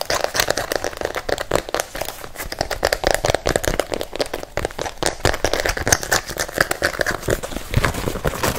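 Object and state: Rubber-soled sneaker.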